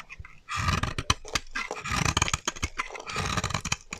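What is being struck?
Bar of soap cut with a metal blade.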